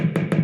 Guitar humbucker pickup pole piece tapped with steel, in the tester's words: jag knacka på toppen av polstycket som talar om för mig att pickupen fungerar bra